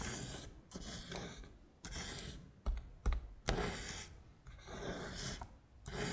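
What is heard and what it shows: A long acrylic nail traces and taps across red Korean letters printed on a flat beige paper sheet. Soft, bright scratchy strokes rise and fade in turn, broken by a few sharp, distinct taps near the middle of the clip.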